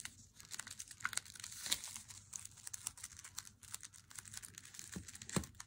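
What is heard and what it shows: Long nails tap and scratch along the edge and front of an unopened Lindt Swiss Classic flat cardboard chocolate box, held and then laid on a wooden table. A dense run of quick, dry, bright clicks and papery scratching crinkles fills the clip, each sound dying away almost instantly. A couple of duller, lower knocks stand out near the end.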